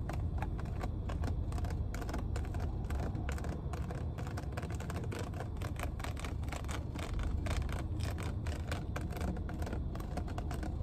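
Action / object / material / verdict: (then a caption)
tap / plastic water bottle / plastic / none. A full, clear plastic water bottle has its cap and ridged body tapped rapidly with long nails inside a car. A steady stream of quick, dry clicks and taps runs throughout over a constant deep low rumble.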